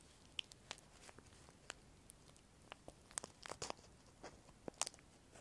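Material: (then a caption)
Plastic. A small piece of semi-thick clear plastic film is crinkled and pulled between the fingertips of both hands close to the microphones. About a dozen quiet, sharp, bright crackles and ticks snap out irregularly over a soft hiss, each dying away instantly.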